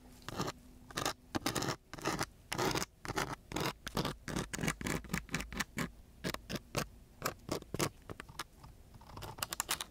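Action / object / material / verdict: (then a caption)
scrape / sandpaper sheet scraped with a wooden stick / sandpaper / none. A striped wooden stick held in a gloved hand scratches and scrapes across a coarse brown sandpaper sheet with a gritty surface. The result is a rapid series of short, dry, bright scratching strokes that start and stop abruptly with no ring after each.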